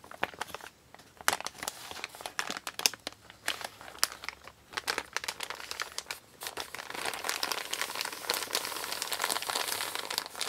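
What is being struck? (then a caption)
Kraft paper mailer bag. A large, empty brown kraft paper Amazon mailer bag lies flat while the fingertips of one hand crinkle its edge, then both palms and fingers press and rub the wrinkled paper flat. Sharp, bright crinkles and crackling snaps come in quick bursts at first, then turn into a steadier, continuous papery rustle.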